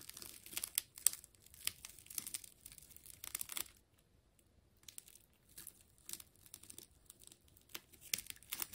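A utility knife blade slices into a hand-sized, silver-gray ball of wound clear plastic tape, making bright, crinkling and tearing sounds in quick, irregular bursts. The cutting pauses briefly near the middle, then resumes with more sharp crinkles and tears.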